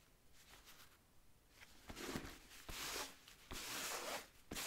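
A blue microfiber cloth, held in the fingers, wipes and rubs the rubber lug sole of a wheat nubuck leather boot that is hollow and empty and held up. Faint scuffing at first builds into four louder, bright, papery swishing passes, each starting with a soft thud against the sole.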